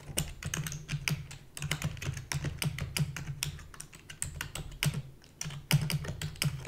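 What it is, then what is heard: Plastic computer keyboard. Rapid typing with long fingernails and fingertips on a full-size black plastic keyboard with a hollow body. It produces a fast, dense stream of short, bright clicks over a low, hollow thump around 140 Hz. Each keystroke dies away almost instantly, with occasional louder strikes.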